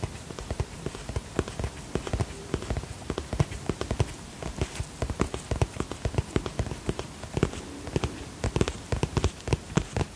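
Long fingernails tap rapidly on a holographic vinyl zip cosmetic pouch, producing a steady stream of short, dry, dull clicks with very little ring. The taps are soft and mostly low-pitched, varying slightly in strength throughout.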